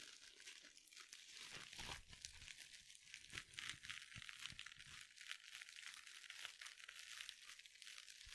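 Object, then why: Mesh-covered scrub sponge. Long nails scratch and squeeze a small, soft glitter mesh scrub sponge with a sparkly mesh cover. The result is a continuous, dense crinkling and scratching texture, bright and high with its energy centered around 2 kHz and very little low end. Occasional sharper crackles stand out from the quiet, steady rustle.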